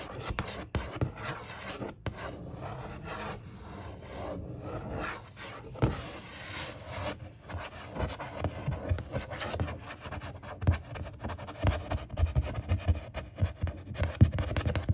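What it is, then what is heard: Cardboard box. A long-nailed fingertip traces and rubs over the printed 24" label and ASUS logo on the sides of a large, hollow black ASUS monitor cardboard box. Soft, low scratchy rubbing strokes run throughout, growing busier with sharper, papery scrapes and light tick-like peaks toward the end. The hollow box lends a dull, boomy undertone to each stroke.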